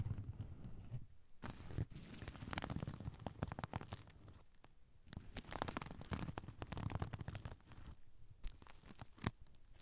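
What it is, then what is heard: Sequin pouch, scratched. Fingernails scratch and brush the blue and silver sequins of a soft oval pouch with a black zipper, held over the recorder. The result is quiet, dense, crinkly rasping and tearing-like scrapes over a low, muffled rumble, coming in bursts with brief lulls and a few sharper ticks.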